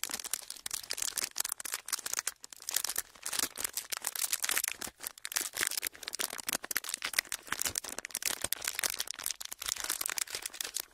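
A thin, clear plastic sheet is folded and squeezed with the fingers, giving a steady stream of bright, dry crinkling and crackling. The sharp snaps come in quick, overlapping bursts that rise and fall in loudness, with almost no low end and no ringing after each crackle.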